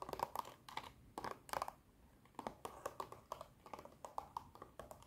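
Long nails tap on the clear plastic of a long blister box with a cardboard backing that holds small colorful dinosaur erasers. The result is a quick, uneven run of dry, clicky taps with a hollow plastic tone around 940 Hz and almost no ring, coming in small clusters separated by brief pauses.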